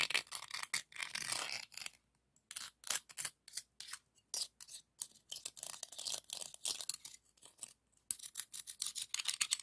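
Another scallop shell, held in the fingertips, is scraped and rubbed over the ribbed surface of a hollow pink scallop shell. It makes a series of short, bright, scratchy rasps with brief pauses between strokes, almost no low end and very little ring.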